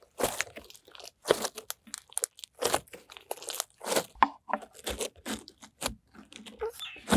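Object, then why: Clear glitter slime. Clear glitter slime is squeezed and folded in both hands, pressing out air pockets. The result is a dense, irregular run of wet crackles and sharp popping bursts with crunchy, bright edges. Short quiet gaps fall between the pops.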